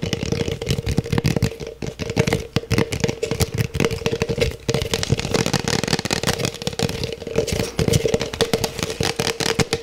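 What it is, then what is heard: Plastic cup tapped and scratched. An empty, hollow black plastic cup is held and moved around while its sides are tapped and scratched with the fingertips. The result is a fast, dense stream of hollow, clattering taps mixed with bright scratching, and a faint steady tone runs underneath throughout.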